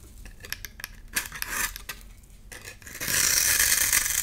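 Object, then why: Bar of soap. A solid, palm-sized orange bar of soap, held in one hand, is scraped and shaved with a box-cutter blade so that curls and crumbs fall off. Bright, crisp scraping ticks and short scratches come first, then after about three seconds they give way to a steady, louder, hissing shave.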